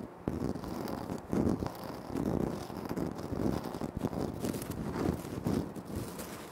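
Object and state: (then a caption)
Granite floor tile. Short fingernails scratch and fingertips tap on a flat, solid, speckled granite floor tile. The sound is a steady, dry rasping with soft, dull taps rising in small bursts throughout, mostly low and mid in tone with little brightness.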